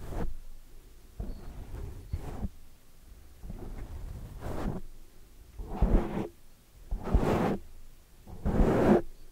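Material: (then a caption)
Foam. Both hands grip a large oval black foam windscreen on a microphone, scratching and rubbing the soft porous foam with long dark-painted fingernails and fingertips. The result is a series of muffled, bassy, rustling swooshes separated by short pauses, with the strokes growing louder and brighter toward the end.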